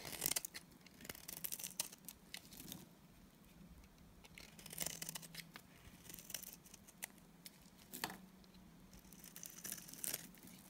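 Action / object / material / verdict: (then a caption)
scrape / bar of soap / soap / none. A solid, pale green, oval Timotei bar of dry soap is held in the hand and shaved with a box cutter blade. Soft, bright scraping and cutting strokes come in short bursts with quieter gaps between them, over a faint low hum.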